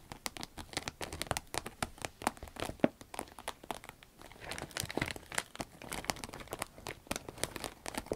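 Long red nails tap and scratch a small, hollow, soft cylindrical green vinyl zip pencil case, working over both the body and the zipper. The result is a dense, quick patter of sharp clicks and crinkly scratches spread across the range, with bright tips and a brief crackly, rain-like texture.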